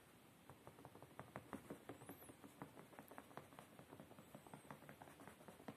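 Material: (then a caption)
Fabric. Fingertips and short nails tap and scratch quickly on a beige woven-fabric padded chair seat. The result is a rapid, irregular run of soft, muffled pats and rustling scratches, each dying away almost at once. The pats are clearly separate, numbering about nineteen.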